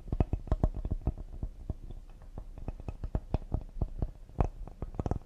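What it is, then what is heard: Cedar wood serving board. A cedar wood serving board is tapped quickly and delicately with the fingertips, producing a rapid, uneven run of about 26 soft, dull knocks. Each tap is short and low-pitched, with almost no ring or high-end brightness.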